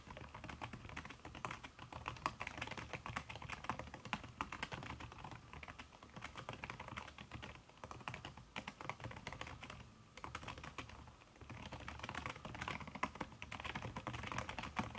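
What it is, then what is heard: Silicone-covered laptop keyboard being typed on. Fingertips and long red nails type quickly on a backlit aluminium laptop keyboard fitted with a red silicone key cover. The result is a dense, steady stream of soft, muffled key taps with brighter clicks from the nails. The typing eases briefly around the ten-second mark before picking back up.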